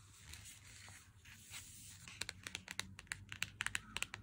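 Fingertips and nails scratch and tap a handheld Lindt chocolate bar's cardboard sleeve, first the front and then the printed back. Soft, papery scratching and rustling fills the first two seconds, then gives way to a quick run of sharp, bright, dry taps that die away instantly. The sound stays quiet and high-pitched throughout, with little low end.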